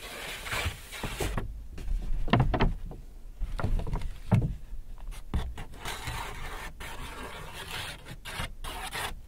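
A large white paper Hudson's Bay shopping bag with handles, hollow and apparently empty, is held up and rubbed and crinkled with fingertips and palms. Dry, papery rubbing and scraping crinkles come in irregular bursts, some sharper crackles standing out, with brief quieter gaps in between.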